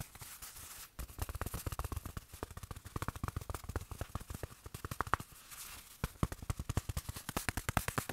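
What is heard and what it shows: Fingertips tap rapidly on a small padded black fabric watch pillow, which is also squeezed in the hand. The result is a dense run of short, dull, low-heavy taps that die away instantly. Soft fabric rustling is heard at the start and again around the middle, where the cushion is squeezed.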